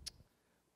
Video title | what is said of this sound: Lab - Verbal Descriptions with Columbia University Digital Storytelling Lab | when you tap the plastic it's hollow